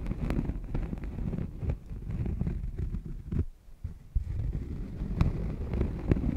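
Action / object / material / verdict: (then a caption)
scrape / thin cork coaster / cork / none. A thin, solid cork coaster resting on a furry mic windscreen is lightly scratched with long painted nails. The result is a deep, muffled, bass-heavy rustling and rumbling, dotted with brief sharp ticks. It pauses briefly near the middle before the scratching resumes.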